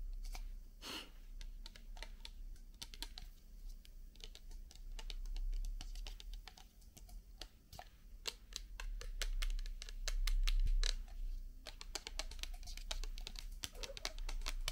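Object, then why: Plastic bottle partly filled with liquid. A medium clear plastic micellar water bottle with a white cap and black label, hollow and partly filled with yellowish liquid, is held in the hand and tapped rapidly with long painted nails. The taps are quick, sharp, bright clicks in an uneven, steady flurry, sounding much like typing on a keyboard. A low steady hum sits underneath.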